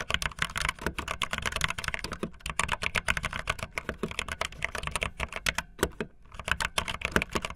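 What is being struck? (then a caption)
Plastic mechanical keyboard keys. Fingertips with long nails type fast on a backlit optical linear plastic mechanical keyboard with white and blue plastic keycaps. A dense, steady stream of short, bright plastic clicks and clacks is heard, with a low thud beneath each stroke and brief lulls around the 2.3 and 6 second marks.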